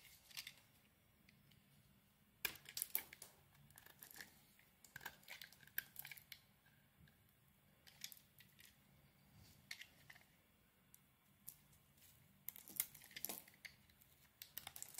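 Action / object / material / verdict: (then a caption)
scrape / bar of soap cut with a blade / soap / none. A utility knife blade carves long shavings from the surface of a solid oval cream-white bar of soap. Soft, crisp scraping and crinkling strokes come in bursts with quiet pauses between, bright and high with almost no low end.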